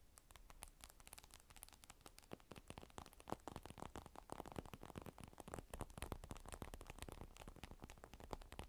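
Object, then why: Glass tablet touchscreen. Long pointed nails tap and click rapidly across the black glass screen of a large flat tablet with a silver aluminum rim, lying face up on dark fur. The sharp, dry clicks come in a dense, uneven stream, with an added echo effect giving them a faint trailing wash.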